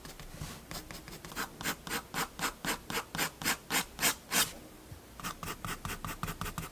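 A fineliner pen scratches quick hatching strokes across a page of a spiral paper sketchbook, making a rhythmic series of bright, dry rasping strokes. The strokes grow louder and more distinct, then turn softer and quicker in the last couple of seconds.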